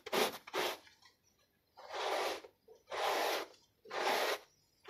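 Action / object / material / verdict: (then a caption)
scrape / small foot-shaped textile pile rug scrubbed with a plastic bristle brush / textile / none. A handheld plastic bristle brush is rubbed across a small, soapy, foot-shaped textile pile rug. Five separate strokes make wet, bright scrubbing hisses: two short ones close together, then three longer sweeps with quiet pauses between them.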